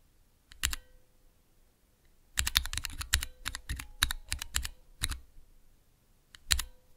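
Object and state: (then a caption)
Mechanical keyboard switch tester. Keys on a small, clear plastic Cherry MX switch tester with transparent keycaps are pressed slowly with the fingertips, making sharp, bright mechanical clacks with a low thump under each. A quick pair of presses comes first, then a dense run of clicks, followed by a couple of isolated presses. Each press stops almost at once with very little ring.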